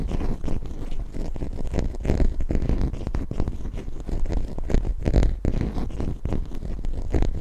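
Long nails scratch and tap rapidly over a small, solid plastic toy zebra figurine held close to the mic. The result is a dense, continuous run of dry scraping and short ticking clicks with a heavy, thumpy low end from the close mic.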